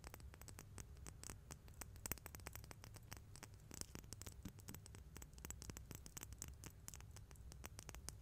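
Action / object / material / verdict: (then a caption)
tap / small metal coins tapped and rubbed with fingernails / metal / none. Two small, solid, silver-colored metal coins, one held in each hand in front of a microphone, are tapped and rubbed with fingertips and long nails, then clinked together. The result is a dense, steady stream of quick, bright ticks and scratchy clicks over a soft low rumble.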